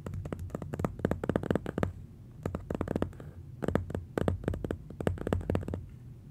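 Fingertips and nails rub and tap across the paper surface of a large, flat pastel drawing mounted on black board, making clusters of short, dry, papery taps and scratches. The taps come in rapid bursts with brief quieter pauses, over a steady low rumble. At the end the hand grips the edge of the board.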